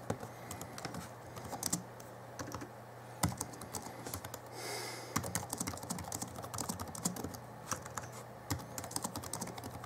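Fingertips type on the backlit plastic keys of a small 2011 Alienware M11x2 laptop keyboard. Quick, light clicks and taps come in uneven bursts, with a few sharper, louder keystrokes over a faint steady low hum. Midway, a brief soft hiss rises and fades.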